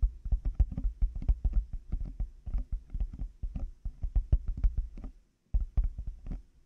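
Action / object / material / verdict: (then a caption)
tap / plastic over-ear headphone earcups / plastic / none. Fingertips and nails tap rapidly on the outer shells of black, hollow plastic over-ear headphone earcups fitted on a 3Dio binaural microphone. The result is a dense run of dull, low, hollow thumps with very short decay and faint clicky edges. It pauses briefly just past five seconds, then resumes.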